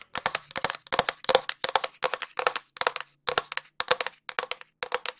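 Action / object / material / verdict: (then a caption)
tap / cardboard tube / cardboard / none. Long nails tap and scratch along a long, empty, hollow cardboard tube. Quick clusters of sharp, dry clicks come in about a dozen short bursts, each carrying a hollow mid-range tone around 500 Hz with bright, scratchy edges. Every burst dies away almost instantly.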